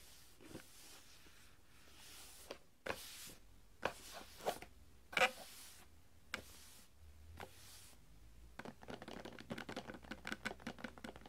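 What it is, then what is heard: Cardboard box with a roll inside. Fingertips tap the sides and top of a small, hollow printed cardboard gift box (a Christmas Toilet Humour toilet roll) with a roll inside, standing on a glass table. Soft, papery taps and brushing strokes come at irregular intervals, a few sharper knocks standing out, before a denser flurry of quick light taps fills the last few seconds.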